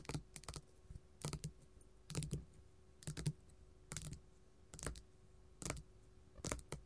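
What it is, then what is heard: Glitter faux leather sheet. A flat pink glitter faux leather sheet lying on a table is tapped with gold metal filigree finger claws. Eight short clusters of quick, crisp taps with a bright clicky edge and a soft low thud die away almost instantly, separated by quiet pauses.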